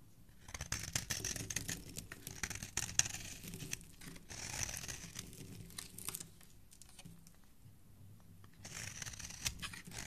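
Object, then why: Bar of soap scraped with a steel blade. A snap-off steel utility-knife blade repeatedly scrapes the edge and corner of a solid green rectangular bar of soap held in the hand, shaving off fine powder and curled shavings. Bright, dry, crinkly scraping comes in quick, papery strokes with a low hand-handling rumble underneath, quieting in a softer stretch before a final burst of shaving.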